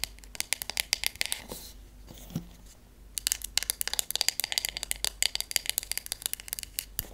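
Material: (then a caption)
Wood. Fingernails tap the wooden handle and back of a wooden hairbrush with wooden pins. The quick, bright, dry clicks come in rapid bursts, pause briefly around the two-to-three-second mark with one soft low knock, then resume just as fast. Each tap is sharp and dies away instantly, with almost no low end.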